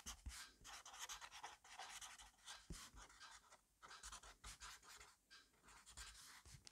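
A black fineliner pen scribbles quickly and continuously across an open grid-paper notebook on a desk. Its tip rubs and scratches the paper in rapid, uneven strokes, giving a dry, bright hiss with brief pauses and soft low taps from the pen and paper.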